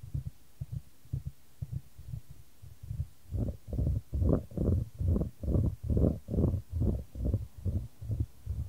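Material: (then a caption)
Wood. A solid, light wooden ball rolls around a shallow square wooden tray held in white-gloved hands, with the tray tilted to keep it moving. About 20 soft, low thumps and rumbles repeat at a steady pace of roughly 140 per minute. The rolls are quiet at first and grow fuller and louder after about three seconds.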